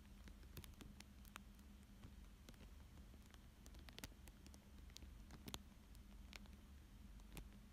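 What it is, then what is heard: Plastic film over paper, crinkled by fingertips. Fingertips and short nails trace, rub and crinkle a thin clear plastic sheet lying flat over a paper fish drawing. Soft crinkles and scattered bright ticks and clicks ride over a steady low hum. The result is a quiet, continuous patter of delicate plastic rustling.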